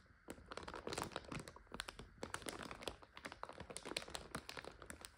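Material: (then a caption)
Plastic. A full 400 g plastic bag of egg noodles is scratched with long nails, then lifted and crinkled by hand. Dense bursts of sharp, bright crackling and rustling come in quick, irregular succession, each one short and dry with almost no ring.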